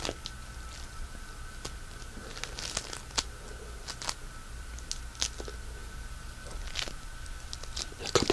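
A small, solid piece of pink polystyrene bead floam is squeezed and rubbed with fingertips. This produces soft, irregular crunching and crinkling with scattered sharp, bright crackles and pops over a quiet background with a faint steady tone. The crackles grow denser and louder toward the end.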